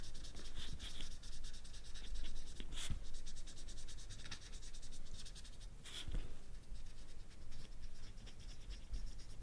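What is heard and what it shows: A felt-tip permanent marker is rubbed and scratched over the tip of a whole ripe yellow banana with brown spots, solid fruit still in its peel, while the other hand holds it on a black mat. A steady, close, dry scratching and rubbing runs throughout, with a few brighter squeaky strokes standing out.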